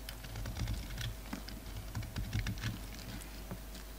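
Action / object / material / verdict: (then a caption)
scrape / bar of soap cut with a utility knife blade / soap / none. A utility knife blade scrapes and cuts flakes off a solid black and white bar of soap held in the hand. Quick, irregular scratchy ticks and crisp flicks sound over a low, steady background hum.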